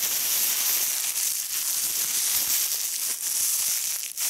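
One hand crumples and crinkles a bunched fold of a large, thin, translucent polyethylene plastic bag lying spread on a striped cloth, working the soft, hollow, empty film between fingers and thumb. The result is a steady, bright crackling hiss with almost no low end, dipping briefly near the end.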